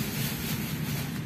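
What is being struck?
Nothing is struck.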